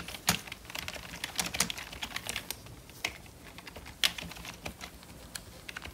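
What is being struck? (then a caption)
Plastic membrane computer keyboard. Gloved fingertips type on the keys of a full-size, hollow, black plastic membrane computer keyboard. Quick, bright, dry clicks and soft taps come in an irregular stream, with a few sharper, louder keystrokes standing out and almost no low-end thump.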